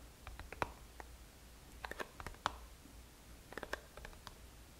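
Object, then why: Small cardboard product box. Long nails tap and scratch the sides of a small black and green Boscia cardboard product box, likely holding a product, held in the hands. About fifteen quiet, dry, irregular clicks and taps sound with short papery scratches between them over a faint low hum, each hit dying away almost instantly.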